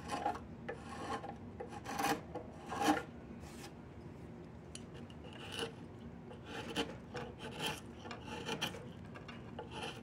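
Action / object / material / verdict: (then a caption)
scrape / willow wood walking stick / wood / none. A chisel carves and scrapes along the length of a solid diamond willow walking stick. Irregular rasping strokes with a bright, gritty texture come in uneven bursts, loudest early on, then continue as softer, steady scraping passes.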